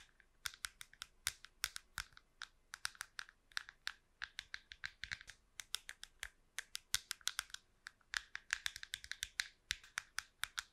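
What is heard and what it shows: Long pink nails tap and scratch the curved top of a small, hollow, smooth silver-white plastic wireless computer mouse held in one hand beside the microphone. The result is a quick, irregular run of dry, bright clicks, each dying away almost instantly, with scratchy texture and almost no low end, much like fast keyboard typing.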